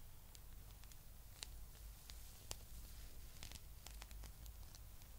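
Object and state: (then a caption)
Rubber spiky massage ball. Long nails scratch slowly over the spikes of a palm-sized blue spiky rubber massage ball. Quiet, scattered bright scratchy ticks and soft rasps sound over a steady low hum, with a couple of slightly sharper clicks standing out.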